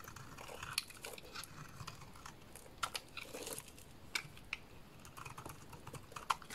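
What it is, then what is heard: Bar soap being shaved. A small dark blade shaves curls off the corner and face of a solid lilac bar of soap held in the hands. The sound is a quiet, steady crackly scraping with sharp, bright clicks and short crisp crunches scattered throughout.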